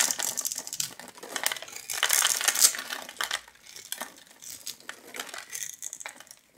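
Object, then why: Bar of soap cut with a metal knife. A metal knife blade scratches and carves a grid into a solid, palm-sized blue bar of soap held in one hand, shaving off small soap cubes. The cutting makes dry, bright scraping and crisp crackling in irregular bursts, loudest in the middle and fading to softer scrapes toward the end.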